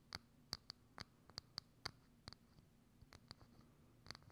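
Long acrylic nails tap and scratch the outer surface of a hollow, thin, transparent plastic dome lid with a small knob on top, set over a microphone. Eleven sharp, bright clicks ring out with a high, glassy tone and die away almost instantly. Faint scratchy rustles fill the gaps over a quiet background.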